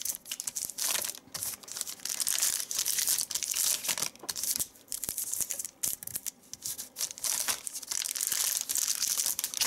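A large, thin, crinkled white paper sheet resting on a leather seat is folded and crumpled by hands using their fingertips. The result is dense, bright crinkling and crackling in uneven bursts separated by brief quiet gaps, with almost no low end.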